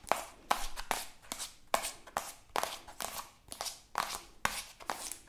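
Long acrylic nails rapidly tap and scratch along a soft, partly filled white plastic cosmetic squeeze tube. Sixteen quick, uneven bursts are heard, each a crisp tap that dies almost at once and is followed by a short, bright, scratchy rub.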